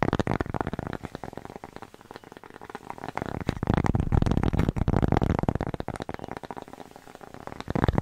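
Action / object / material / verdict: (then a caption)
tap / thin flat cork coaster / cork / none. Long nails rapidly tap and scratch a thin, flat, square cork coaster with a red dot, held in the hands and moved from far away to close to the mic. The dull, low-heavy taps and scratchy rustling come in a fast, irregular stream. The sound dips quiet around two and seven seconds and swells loudest through the middle and again at the very end.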